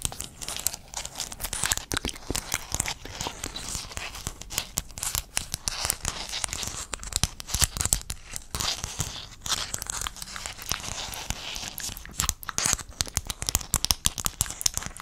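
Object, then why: Sheet of small hexagonal mosaic tiles. A flat sheet of small silver-blue hexagon mosaic tiles with a metallic-look finish is held in one hand close to the mic while the fingertips and nails of the other hand tap and scratch across the tile faces. This makes a dense, continuous stream of quick, bright clicks and crackly scratching that cut off almost instantly, with light crinkly, tearing-like textures and little low end.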